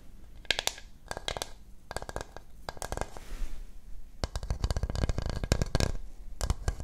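A small, hollow, glazed coconut shell bowl with a natural brown shell is held upside down in both hands and tapped and scratched with long nails and fingertips on its rounded outside. Dense clusters of quick, dry clicks and taps come in bursts, with short scratchy stretches in between and a low, hollow body to each tap.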